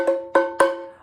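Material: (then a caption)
Cardboard. A wooden spoon used as a drumstick taps three times on the hard end of a cardboard Pringles chip can. Each tap gives a hollow, drum-like knock with a short tonal ring around 540 Hz that fades quickly.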